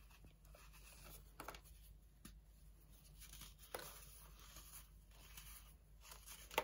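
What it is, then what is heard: Dried baking soda block being crumbled. A flat slab of dried, compressed baking soda sits on an orange plastic tray while chunks of the solid, brittle block are broken off and crushed between fingertips and short nails. Quiet, gritty crunching and rubbing carry a steady powdery rustle, with a few sharper snaps standing out as powder and crumbs fall back onto the slab.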